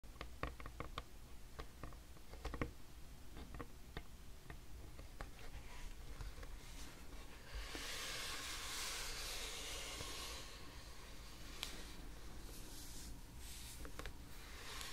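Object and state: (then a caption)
Light wooden tabletop. Long red-painted nails tap and scratch directly on a light wooden tabletop, a flat, solid, pale wood or wood-laminate surface. Quiet, sharp, irregular clicks with very short ring are scattered through the clip. A sustained, hissy scratching sweep runs from about 8 to 10 seconds.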